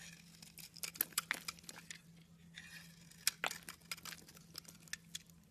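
A metal utility knife blade slices and scrapes chunks off a solid pink soap bar held in the hand. It makes crisp, bright crackling scrapes and sharp ticking snaps, over a faint steady low hum.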